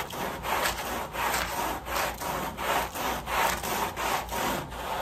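A wet, foamy woven pile area rug lying on a plastic sheet is scrubbed with a red-handled white bristle brush. Steady back-and-forth strokes make rhythmic, bristly swishing and scratching sounds, each stroke a rasping burst centered in the midrange with a bright hiss on top.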